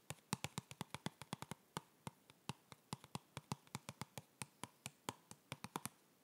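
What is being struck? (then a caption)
Cardboard box. A hollow white printed cardboard yoga block box, held in the hands, is tapped with the fingertips 37 times at an uneven pace. Each tap is a short, dry knock with a hollow low thump and a brief papery click that dies away almost instantly.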